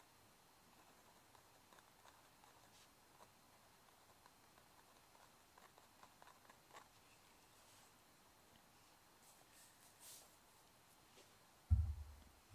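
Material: Nothing is struck.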